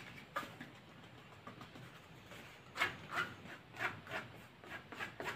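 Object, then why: Fabric-covered portable speaker. Fingertips and nails scratch and rub along the woven fabric mesh cover of a hand-sized, solid, cylindrical dark grey Bluetooth speaker held in the other hand. Quick, irregular bursts of dry, bright scratching rise above a soft, steady rasp, with about six louder strokes standing out.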